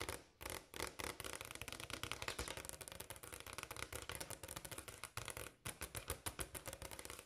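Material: Granite.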